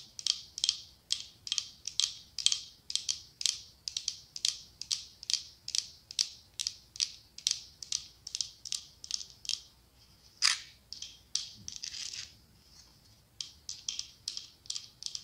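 Long acrylic nails tap rapidly on the side of a medium cylindrical glass candle holder decorated with autumn leaves, with a white candle inside. Dozens of short, bright clicks ring briefly around 3.2 kHz in a steady rhythm, with one sharper tap near the middle and a brief scratchy brush before a short pause. The tapping then resumes.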